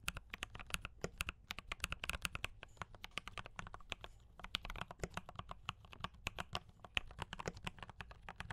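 Fingertips type on a D84 mechanical keyboard with brown switches and cream and red plastic keycaps, at times with only one hand. A dense, steady stream of short, crisp clacks sounds, each with a bright top and a soft low thump, and stops almost instantly.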